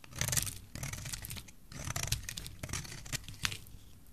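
A solid olive green bar of dry soap, held in the hand, is scraped with a metal utility knife blade. The result is a run of dry, crackly scraping strokes with bright, crisp shaving texture over a low rumble, with sharp peaks as the blade bites into the bar.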